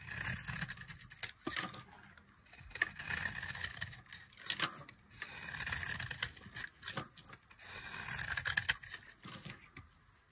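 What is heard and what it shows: A box-cutter blade carves crumbling chunks off a solid, dry tan bar of soap held in the hand. Dry, crackling scrapes come in repeated bursts of bright, high-pitched crumbling, separated by short quiet pauses.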